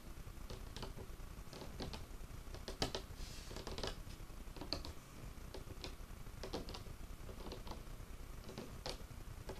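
Fingertips and short nails of one hand tap on the top of a large, solid, dark wood table. The result is an irregular run of soft, dry knocks and bright clicks that die away almost at once, over a steady low rumble.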